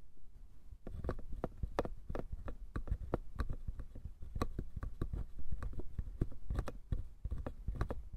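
A small hollow wooden box is held between both hands while fingertips and nails quickly tap and scratch its sides and lid edges. After a brief quiet moment, a rapid stream of dry, sharp clicks and soft knocks follows, each with a dull low body and almost no ring.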